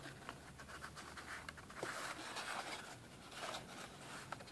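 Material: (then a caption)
Cardboard. A small, hollow, rectangular black and red printed cardboard box is held and then set on a table while fingertips and nails tap and scratch its sides and edges. Soft, dry scratching rasps run throughout, broken by about five quick, bright taps that die away almost instantly.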